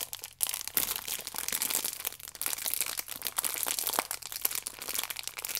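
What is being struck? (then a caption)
Plastic-wrapped stack of yeast sachets. Fingertips and nails rub and squeeze the ridged side of a plastic-wrapped stack of yeast sachets, producing dense, continuous crinkling. The sound is bright and crackly, with many quick, close-spaced crackles and almost no low end.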